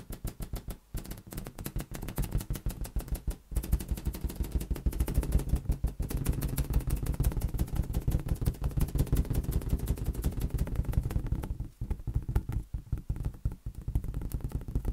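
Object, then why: Inflated latex rubber balloon. A large, hollow, air-filled green latex balloon is tapped and patted rapidly with fingertips and an open palm. It gives a dense stream of soft, low, drum-like thuds with almost no high content, and each tap dies away almost instantly. The tapping runs nearly nonstop, with only brief pauses near the start and a lighter, sparser stretch toward the end.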